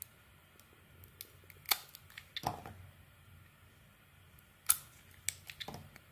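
A small metal blade scrapes and cuts thin layers off a palm-sized, hand-held solid oval bar of cream soap with a cracked pink-brown coating. Crisp, bright snaps and short scraping strokes come in scattered bursts. Quiet pauses and a faint low hum sit between them.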